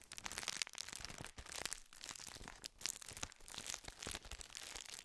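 A gold plastic wrapper full of round sandwich biscuits is crinkled and rubbed with the fingertips close to the microphone. Dense, bright crackling and crinkling come in quick bursts with short gaps, mostly high-pitched with little low end.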